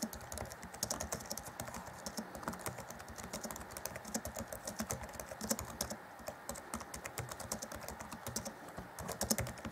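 Fingertips of both hands type rapidly on the black plastic chiclet keys of an Acer Chromebook C20 (2014), set in a grey laptop keyboard deck. The result is a steady stream of quick, dry, bright clicks with a soft low thump underneath. Each keystroke dies away almost instantly.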